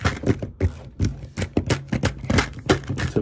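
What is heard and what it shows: A hand-sized, hollow Omega-3 supplement bottle of dark green plastic, with a yellow plastic cap and a paper label and likely full of softgels, is held in one hand and tapped quickly with the fingertips of the other. About 15 short, dull, low taps land in a fast, uneven rhythm, each dying away almost at once.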